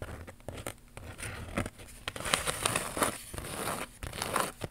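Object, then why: Cardboard card with glitter iron-on transfers. A flat cardboard retail card holding purple glitter star and smiley iron-on transfers is held up and scratched and tapped with long pink nails. Dry, crinkly scratching and rustling mix with light, irregular taps that carry a bright, crackling edge and fade almost at once.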